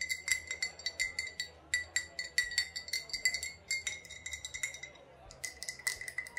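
An old glass bottle with a faded sticker, holding either vodka or rubbing alcohol, is tapped and clinked in a quick, uneven run of light taps. Each tap gives a short, bright glassy ting centred near 2 kHz with high overtones, dying away almost at once. There is a brief lull around the five-second mark before a few final taps.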